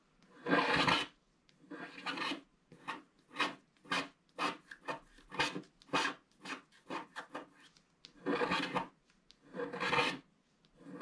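A wooden stick scratches the coating at the lower right of a flat black wax-coated scratch art paper card. It makes a series of dry, rasping strokes with short pauses between them; some bursts are long and some are quick, and each has a bright, papery hiss.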